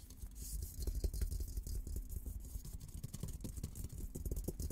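Fingertips and nails scratch and tap the top of an olive-green painted steel military helmet, a hollow dome, close up. A dense run of soft, low, hollow thumps blends with scraping and a faint bright hiss over the whole clip.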